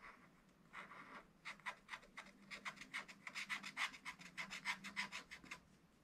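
A wooden stylus held in the fingers scratches away the black wax coating of a scratch-art page in a small spiral-bound book lying flat on a table, revealing colored leaves and a bird. Quick, repeated scratching strokes make a bright, dry rasp that comes in short bursts, speeding up after a slow start.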